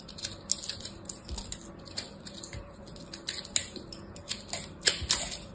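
A hand-held, hand-sized solid ball of pressed blue and purple crushed soap chips is scraped and carved with a small black blade. The clip is a series of short, crisp, bright scraping and crunching ticks with almost no ring, over a faint low rumble.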